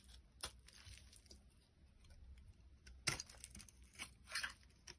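A box cutter blade carves flakes off a solid orange translucent bar of soap held in the hand. The quiet clip has sparse, irregular, crisp scraping and cutting sounds with a bright, crunchy texture. The sharpest cut comes around the three-second mark.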